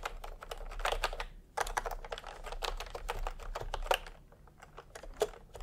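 Fingertips tap on the keys of a full-size plastic typewriter-style computer keyboard with round retro keycaps in peach and cream, lying on a white cloth. The typing comes in bursts of quick, dry plastic clicks with short pauses between them, over a faint low background hum.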